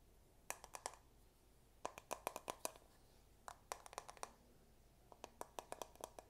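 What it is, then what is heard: Plastic paddle hairbrush. Fingertips and nails tap and scratch the dense bristles and the back of the head of a medium-size paddle hairbrush with a dark plastic, likely hollow-backed head, held up in one hand. About two dozen short, dry, bright clicks come in three quick bursts separated by quiet pauses, each dying out almost instantly with no ring.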